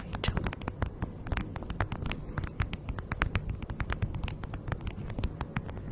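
Long nails and fingertips crinkle and scratch a thin beeswax-coated fabric food wrap stretched over a fluffy mic windscreen. Dense, rapid crackles and sharp bright ticks come in a steady stream over a soft, low rumbling bed, with each crackle dying away almost instantly.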